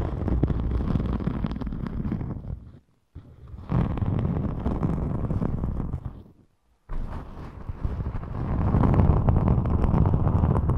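Long chrome-polished nails and fingertips scratch and rub the surface of a thin, flexible, rainbow glitter EVA craft foam sheet, about A5 size, held close in front of the microphone. The result is a dense, close, low-heavy rustling and scratching texture. It breaks into three stretches separated by brief silences, with the last stretch growing fuller and louder.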